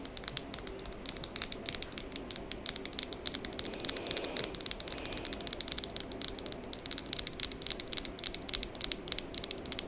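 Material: Acrylic.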